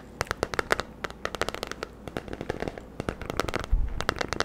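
Fingernails scratch and tap the smooth, lemon-patterned plastic oval back of a hairbrush held in one hand close to the mic. The result is a quick, uneven run of sharp, dry clicks and crackling taps that die away almost instantly, with a soft scratchy texture and a low thump near the end.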